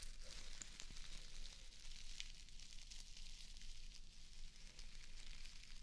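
A small square of plastic artificial grass, held in one hand, is scratched and brushed with long acrylic nails. The result is a steady, quiet, bright crackling rustle of many fine scrapes over a low rumble.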